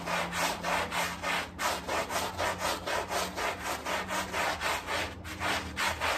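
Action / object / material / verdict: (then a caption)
scrape / fabric rug scrubbed with a plastic brush / fabric / none. A gloved hand scrubs a small, soapy, dirty and muddy flat-woven area rug on a tile floor, working a handheld plastic scrub brush back and forth through the foam. Rapid, steady bristle strokes make a bright, wet rasping swish, pulsing at roughly three to four strokes per second over a faint low hum.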